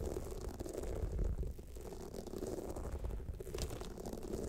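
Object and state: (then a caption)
Rhinestone-covered clutch bag scratched with nails. Long nails on both hands scratch the rhinestone sides of a small, hollow, pyramid-shaped clutch bag with a jeweled clasp standing upright. The result is a steady, dense rattling scrape with a heavy low rumble underneath and occasional bright, glittery bursts of clicking.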